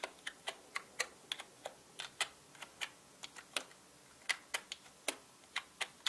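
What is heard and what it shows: Fingertips tap on the plastic keycaps of a full-size black mechanical keyboard, typing at an uneven pace. Twenty-two short, sharp, bright clicks stand out against a quiet background, each dying away almost instantly.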